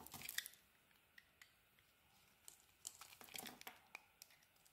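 A utility knife blade shaves and carves a solid pink bar of soap, with flakes falling onto the table. Soft, bright crisp scrapes and crunchy clicks come in short separate bursts, louder at the start and again near the middle, with near silence between strokes.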